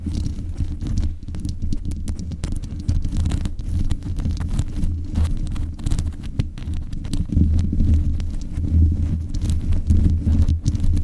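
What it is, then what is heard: Metal microphone grille. Long nails scratch and tap the metal mesh grille on the head of a black USB condenser microphone. The sound is a dense, continuous low rumble and thumping, with nearly all its energy in the deep bass and a few faint crackly ticks above. It holds fairly steady throughout, swelling slightly toward the end.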